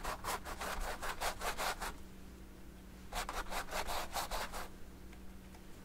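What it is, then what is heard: Brush strokes on oil-painted canvas. A thin paint brush held in the fingers is repeatedly stroked and rubbed over the textured oil paint of a large, flat stretched canvas. It makes quick, dry, scratchy brushing sounds with bright hiss in two bursts, separated by a short pause. A steady low hum runs underneath.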